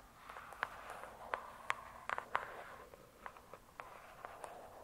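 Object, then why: Hardcover book with glossy cover. Long nails tap and scratch the glossy cover of a "True Crime" hardcover book. Quiet, crisp clicks stand apart over a soft, steady scratching hiss, with the taps sharp and brief and centered in the midrange.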